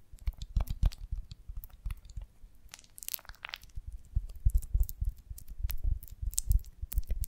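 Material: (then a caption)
Beeswax. A rounded golden beeswax honeycomb on a branch is held in one hand while the long nails of the other hand scratch and tap its wax cells. The result is a close, irregular stream of crinkly scratches and soft, dull taps with deep thumps underneath, plus a brief brighter scraping sweep partway through.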